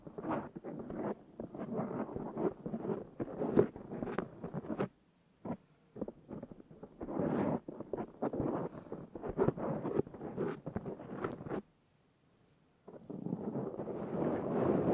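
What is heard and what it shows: Fingernails and fingertips of both hands scratch a black foam windscreen on a Zoom H6 recorder, making dense, rustling, crackly scrapes in quick bursts. The scratching stops in two brief silences, one near 5 seconds and a longer one around 12 seconds, then resumes as a steadier, brighter rasp.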